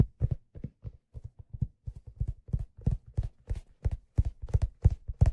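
Fingers tap and rub the hollow crown of a black leather fedora hat held in both hands, producing 19 short, dull, low thumps. The taps come in a loose, uneven rhythm and die away almost instantly.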